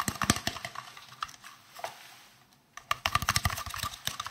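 A hollow, green, translucent, round plastic case is tapped with fingertips and nails close to the microphones. The result is a quick, irregular series of short, crisp, clicky taps with a bright top, followed by a brief quiet lull and then a denser flurry of tapping.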